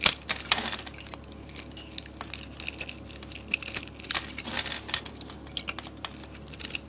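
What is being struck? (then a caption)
Bar of soap. A blade cuts small cubes from a solid white bar of soap held in the hand, and the pieces crumble off. The result is a quick, irregular run of dry, bright crackles and ticks with almost no low end and no ring, over a quiet background.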